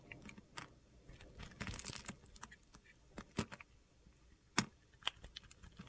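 A solid yellow bar of soap held in the hand is carved with a metal utility knife blade, which scrapes off small cubes. Soft gritty scraping is broken by sharp, crisp cuts and snaps that crack bright across the range, with quiet pauses between them.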